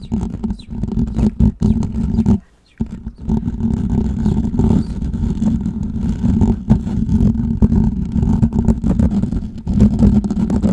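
Fingertips and nails of both hands scratch the hollow perforated metal mesh grille of a large USB condenser microphone in the Blue Yeti style. The result is a dense, continuous, rumbling scratching with a steady low tonal drone. It breaks off briefly at about two and a half seconds, then resumes for the rest of the clip.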